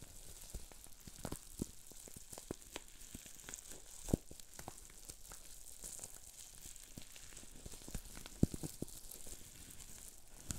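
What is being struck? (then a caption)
Plastic bubble wrap. Fingertips squeeze and twist a sheet of green plastic bubble wrap with small air bubbles, producing a rapid, irregular popping crackle over a steady hiss. Two sharper, louder pops stand out among the quieter crackles.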